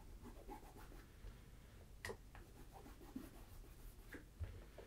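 A tan Tricker's Stow leather ankle boot, hollow and empty, is held on its side on a table while fingertips wrapped in a polishing cloth rub and scratch across the leather toe and vamp. The result is a quiet, low, continuous soft rubbing broken by brief, bright scratchy strokes, with three slightly sharper ticks standing out.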